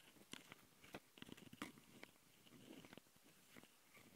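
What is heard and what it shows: Long nails of both hands scratch the metal mesh grilles of a Tascam handheld recorder's microphone capsules on its plastic body. About ten sharp, dry, crunchy scrapes come in a fast, uneven pattern, with bright, gritty tops and short, dead stops between them over a low, quiet background.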